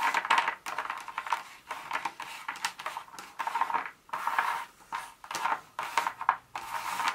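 Very long acrylic nails tap and scratch through a pile of small, solid, thin broken dark chocolate pieces on a speckled countertop, pushing them around. The result is bursts of dense, dry clicking and rattling, centered in the midrange with bright edges and no low end. Each click dies away almost instantly, with brief quiet gaps between the bursts.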